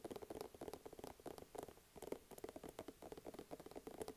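A small, soft plastic skincare tube is held close to the microphone and tapped quickly with fingertips and nails. It makes a quiet, rapid patter of short, dry taps with a hollow midrange tone and faint clicky edges. Each tap dies away almost instantly.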